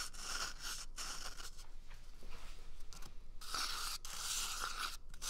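A small, empty, hollow brown cardboard toilet paper tube is held at the microphone and scratched and squeezed with fingers and nails. Dry, bright scratching and crinkling rasps come in bursts with short pauses and a faint low rumble beneath. The texture is a crisp, papery crunch.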